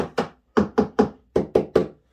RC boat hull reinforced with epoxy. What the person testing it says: you can totally hear the difference